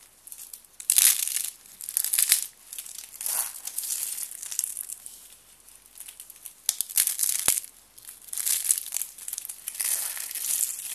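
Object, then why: Stack of thin soap sheets. A stack of thin white dry soap strips is bent, snapped and crushed between fingers with blue nails. Bright, dry crinkling crunches come in repeated bursts with quiet gaps between them. A single sharp snap lands in the middle, and there is almost no low end.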